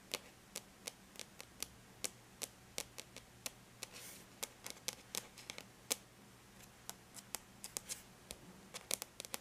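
Long bare natural nails lightly tap on the flat silver-gray aluminum lid of a laptop. About 33 quiet, sharp, bright clicks land in an irregular rhythm, each dying out almost instantly, over a faint low hum. A brief soft rustle sounds midway.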